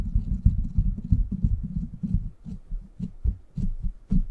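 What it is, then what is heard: Metal mesh microphone grille being scratched. Fingertips and short nails scratch the hollow, rounded steel mesh grille of a silver microphone. The result is a dense run of low, muffled thumping scrapes, irregular and almost entirely deep, with only faint bright crackle at the tips of some strokes.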